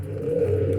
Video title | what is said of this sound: Posso usar a Lava e Seca fazendo barulho no mecanismo? | girando aqui o tanque sem as polias sem a correia sem o motor dá para escutar o ronco do rolamento